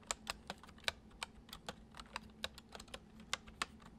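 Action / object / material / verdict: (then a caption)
tap / plastic computer keyboard / plastic / none. Fingertips tap the keys of a full-size white plastic computer keyboard resting on a wooden desk, typing at a gentle, uneven pace. Each keystroke is a short, bright click that dies away almost at once, over a faint steady low hum.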